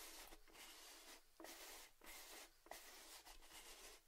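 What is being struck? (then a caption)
Metal tin with lid. A tall orange cylindrical metal Baileys tin with its lid on is held tilted and rubbed and tapped with fingertips and nails. Soft, bright scratchy strokes sweep across the surface in uneven passes with short pauses between them. Two light taps stand out with a faint metallic ring.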